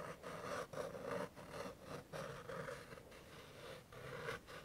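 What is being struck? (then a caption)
Paper greeting card with scratch-off coating. A fingertip and nail scratch and rub the silver scratch-off circle in the middle of a flat white and yellow paper greeting card reading "POP," held in the other hand. A series of dry, papery scraping strokes sits mostly in the midrange, separated by brief quiet gaps.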